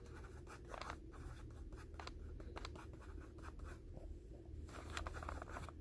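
Fingertips and short nails tap and scratch the white paper wrapper over the blue label of a soft, rectangular pack of 200 gauze pads. The result is a quiet, steady run of dry papery scratches and soft taps over a low background rumble.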